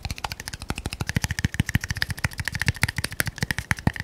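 Fingernails tap very fast on a small red labeled glass bottle held upright. About 28 short, dry taps come in an uneven rapid flurry, each a low thump with a bright clicky edge and a faint glassy tone near 2 kHz that dies almost at once.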